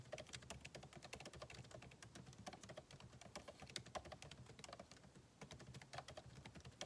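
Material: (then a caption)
Plastic, aluminum. Fingertips of both hands type steadily on a backlit MacBook Pro keyboard, with plastic keycaps set in an aluminum body. Quick, dry, bright key taps run continuously in a busy, uneven rhythm with brief pauses, each click dying away almost instantly.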